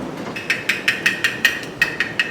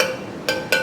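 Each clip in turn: First: A quick run of bright, tinny ticks near 1.9 kHz: a canning lid that is properly sealed. Second: Three light fingertip taps on a metal jar lid give a brief, hollow clink, so the lid has not sealed.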